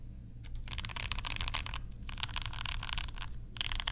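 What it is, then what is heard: Plastic mechanical keyboard being typed on. Fingertips type rapidly on a compact mechanical keyboard with pastel plastic keycaps and Banana Splits switches, producing dense bursts of bright, crisp clacks with short pauses between them. A steady low rumble sits underneath the typing throughout.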